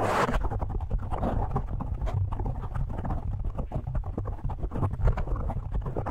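Fingertips of both hands rapidly tap and scratch a black foam windscreen on a microphone. The result is a dense, continuous stream of muffled, boomy thumps and soft rustling, heavy in the low end, with many quick onsets and almost no bright content.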